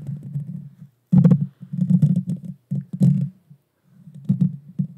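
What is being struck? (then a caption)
Metal mesh microphone grille. Long painted fingernails scratch the bare metal mesh grille on the hollow head of a small Blue Yeti Nano USB microphone. The result is a close, muffled, low rumbling scrape, concentrated around 170 Hz with occasional brief bright crackles. It comes in uneven bursts separated by short silent gaps.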